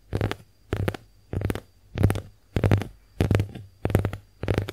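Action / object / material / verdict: scrape / konjac face sponge / konjac / none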